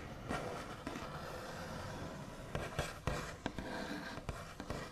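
Fingernail backs tap and trace across the large, solid, smooth top of a white-finished wooden table. A soft, continuous scratchy brushing runs underneath, with several short, sharp taps standing out, mostly in the second half. The taps are dull with a bright edge and die away quickly.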